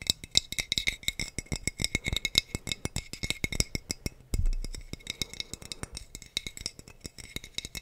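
A clear glass wine bottle with a teal cap, hollow and held close to the mic, is tapped on its neck and body with the fingertips. It gives a rapid run of dense, short, bright clinks with a glassy high ring and a soft low thump under each tap. A brief heavier thud breaks the pattern midway.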